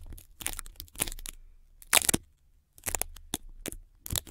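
Long red nails and fingertips tap, scratch and press on white adhesive tape wrapped around a microphone body, making the tape stick and unstick. Dry, bright crackling and tearing bursts come in quick clusters, with a brief silent pause midway and no ringing after each one.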